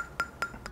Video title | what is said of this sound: 【レビュー】レジノイド製法の魅力｜スーパー砥石_研承 継 成 暁_ALTSTONE 層一層｜世間の包丁の価値観。 | マグネシアに関してはちょっと物によって全然違うんですけどだいたいこのような感じの 少し高めの音ですよね